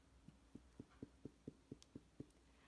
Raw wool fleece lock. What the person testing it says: it's like tapping on the skin of a tight drum skin